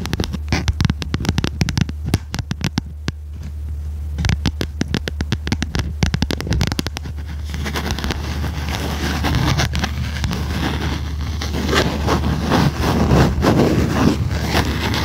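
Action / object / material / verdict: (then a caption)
tap / spiral notebook with stiff card cover and metal binding / cardboard / none. Long red nails tap and scratch the stiff cover of a small red notebook with metal spiral binding. Quick, dense, dry clicks in the first half give way to louder, continuous scratchy rustling, over a steady low hum.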